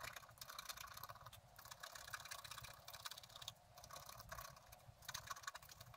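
A wooden stylus scratches the upper branches into a thin, flat sheet of scratch art paper. The result is quiet, dense, bright scratching in short overlapping strokes, with brief pauses between bursts.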